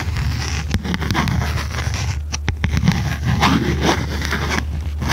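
A small red notebook with a cardboard cover and metal spiral binding is held upright while long red nails tap on its cover. Quick, dry clicks and scratchy taps sound over a steady low hum.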